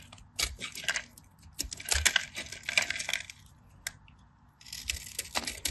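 A craft knife blade scores and carves a palm-sized, solid cream-colored bar of dry soap held in the hand, cutting it in a grid so crunchy cubes break off. Bright, dry scratching and crisp crunching snaps come in quick, clustered bursts with short pauses between them, and each snap dies away almost at once.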